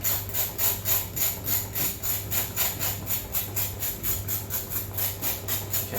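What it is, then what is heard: Crispy roast pork skin. A spoon lightly scrapes the burnt, blackened parts off roasted pork skin in about twenty quick, steady strokes, each a bright, crunchy rasping scratch. The skin sounds crisp, a cookie-like crispiness that is the ideal texture.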